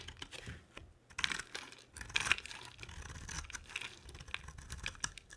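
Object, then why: Bar of soap cut with a blade. A box cutter blade carves a palm-sized solid white bar of soap with an embossed edge, shaving off flakes that fall away. The clip is quiet, with irregular, crisp scraping and crunching bursts that are bright and dry, with no ringing after each cut.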